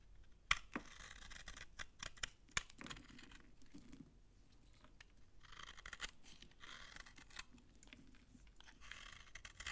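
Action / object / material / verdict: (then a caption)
scrape / bar of soap scraped with a knife / soap / none. A utility knife scrapes dry shavings from an old, solid beige soap bar held in the hand, with a cut-off slice lying beside it. Quiet, crunchy scraping with bright, hissy texture and a few sharp clicks near the start is heard in irregular strokes throughout.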